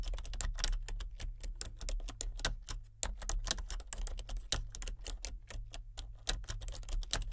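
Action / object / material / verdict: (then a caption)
tap / plastic computer keyboard / plastic / none. Fingertips with red nails type steadily on a full-size plastic computer keyboard with color-changing backlit keys. Each keystroke is a quick, sharp, bright click that dies away almost at once, forming a continuous, uneven stream of tapping over a steady low hum.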